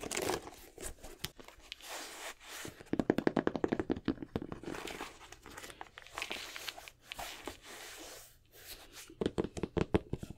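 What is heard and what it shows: An empty black Jordan 6 sneaker with a nubuck upper, rubber sole and plastic lace lock is held in hands while fingertips and nails rub and tap the upper. Dry, scratchy rubbing alternates with quick flurries of soft, short taps, with the densest tapping bursts near the middle and the end.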